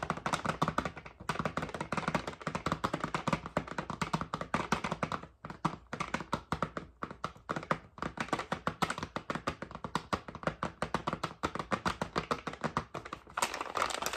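Fingernails tap rapidly on a red soft plastic packet of makeup wipes with a hard plastic flip lid. The result is a dense, steady stream of short, dry clicks centered around 1.2 kHz, with a few brief pauses along the way.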